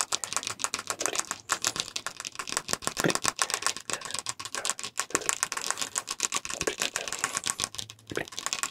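A medium-sized dark glass olive oil bottle, hollow with liquid inside, is held close to the mic and tapped quickly with the fingertips and nails of the free hand. The result is a fast, uneven stream of bright, clicky taps that die away almost instantly, with a faint steady tone near 1.1 kHz running underneath.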